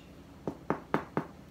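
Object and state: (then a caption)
Baked-through bread roll (sounds hollow). Four hollow knocks on the back of a freshly baked homemade chocolate bread roll, short dull thumps with little ring, showing by their hollow sound that the roll is cooked through.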